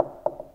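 The horn of a Klipsch CF4 loudspeaker is tapped twice, giving short, dry knocks with a hollow, mid-pitched ring around 600 Hz that dies away almost at once. The horn sounds very hollow.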